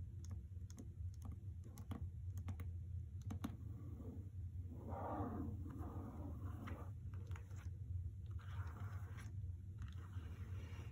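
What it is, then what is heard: Hardcover book with paper dust jacket, tapped and scratched with fingernails. Long red nails tap and scratch the paper dust jacket of a hardcover novel resting on a carpet, with some taps landing near the edges. Quick, dry clicking taps are broken up by soft, scratchy rustling passages over a steady low hum.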